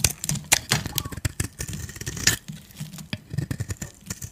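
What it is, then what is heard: Dry soap bar. A metal blade scrapes powdery flakes off the surface of a solid white dry soap bar held in the hand. It makes a rapid run of short, dry, crunchy scraping strokes with bright, hissy highs over a soft low body. Each stroke cuts off almost at once, with no ring.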